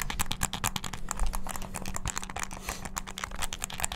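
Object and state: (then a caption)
Plastic game controller. Fingertips rapidly press the buttons of a hollow black plastic game controller with a string tied around it. The result is a dense, fast stream of bright, sharp plastic clicks over a steady low hum.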